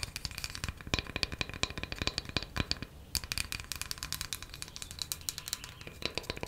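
A small, flat, solid square wooden coaster held in one hand is tapped quickly with long matte black nails. The result is a rapid, uneven stream of sharp, dry, bright clicks with almost no ring, broken by a brief pause near the midpoint before the fast tapping resumes.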